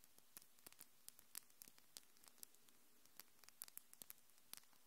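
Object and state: Acrylic fingernails clicking together.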